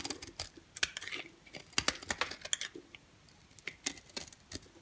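A brown-and-cream striped rectangular bar of dry soap is held in the hand and scraped with a green box cutter blade, curling off long shavings. Each stroke makes a quiet, crisp, bright crackling scrape in short, irregular bursts with almost no low end. The sounds stop dead with no ring.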